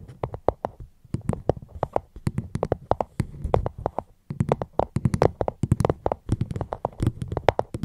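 Fingertips tap steadily and quickly on a fruit box held close to the microphone, in close ASMR style. Each tap is short and dry, with a hollow low thump and a light bright click, and the taps come in rapid runs with brief pauses between them.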